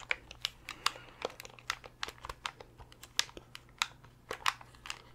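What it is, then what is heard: Plastic game controller. Fingernails tap and scratch across the hollow hard-plastic shell of a translucent purple Nintendo 64 controller. Quick, irregular, sharp clicky taps and crinkly scrapes are bright and dry, with almost no ring. They sit over a faint steady low hum.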